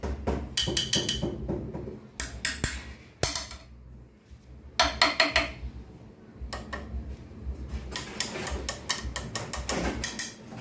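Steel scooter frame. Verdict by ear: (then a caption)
Solid. A tool knocks repeatedly on the front steel frame of a Honda Vario 150 scooter, producing many quick, bright metallic taps in clustered bursts with short ringing over a steady low hum. The knocks sound full rather than hollow, indicating a solid frame with thicker material.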